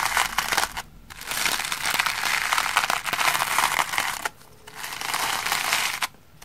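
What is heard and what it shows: The bristles of a round hair brush are brushed and scraped across the holey surface of a large, solid, flat green porous cellulose sponge lying on a wooden table with a little shaving-cream residue. The result is a dense, bright crackling scratch with almost no low end, coming in long passes separated by brief quiet pauses.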